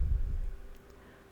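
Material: Nothing is struck.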